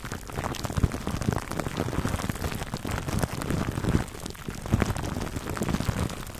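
Fingertips scratch and rub clear plastic cling wrap stretched over a black foam microphone windscreen. The result is a continuous, dense, muffled crinkling and rustling that is heavy in the low end, with quick popping crackles and soft thumps throughout.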